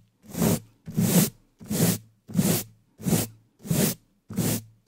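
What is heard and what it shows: The stiff natural bristles of a wooden-handled dish brush, held in a black-gloved hand, are swept fast across the top of the black metal mesh grille of a large studio microphone with a hollow dome. Seven separate strokes are heard, each a scratchy, rustling swish with a thick low rumble underneath and a hiss reaching up into the highs. They come in a steady, fairly regular rhythm, with a brief silence between strokes and another just starting at the end.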